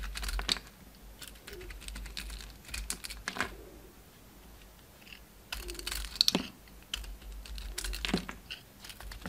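A utility knife blade shaves and scrapes the outer layer off a solid oval bar of soap with a red and black striped coating, held in the hand. Bursts of crisp, bright scraping and crackling come in clusters, separated by quiet pauses with a faint low hum underneath.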